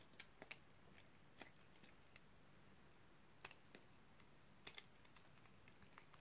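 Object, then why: Bar of soap cut with a blade. A utility knife blade carves crunchy cubes off a solid, dark red oval bar of dry soap scored in a grid. Quiet, sharp, crisp crunches and clicks come at irregular intervals over a low, steady background hum. Each one stops dry, with almost no ring.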